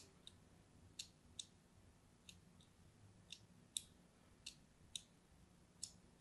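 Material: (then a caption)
Soap. A thin metal blade cuts diagonal lines into the surface of an orange-and-white striped solid bar of soap held in the hand. Ten short, sharp, high-pitched scratchy clicks come at irregular intervals over a faint low background hum. Each click dies away almost at once.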